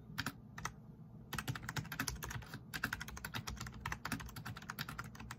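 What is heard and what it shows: Both hands type fast with their fingertips on a black plastic backlit RGB membrane keyboard, pressing its plastic keycaps. A few separate clicks open the clip, then after a short pause a dense, uneven stream of short, bright keystrokes follows, each with a soft low thump underneath and almost no ring.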